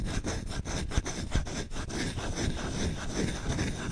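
Short nails quickly scratch and rub the bowl of a solid wooden spoon, making a steady run of fast, dry, rasping strokes. The low end sounds thick and close, with a few sharper scrapes that stand out briefly above the continuous texture.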